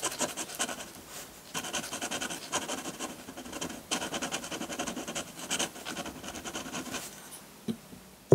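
A metal dip pen nib, held in the fingertips, scratches ink strokes onto a flat sheet of textured white drawing paper. Quick runs of fine, bright, raspy scratching come in bursts, broken by short pauses. The clip closes with a couple of sharper taps after a quieter stretch.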